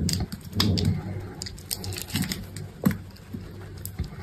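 A metal box-cutter blade scrapes along and cuts grid cubes from the edge of a solid green soap bar held in a hand with pink nails. Soft, dull scraping is broken by a run of quick, crisp clicks and snaps as the blade slices through, each dying away almost instantly over a low, muffled body.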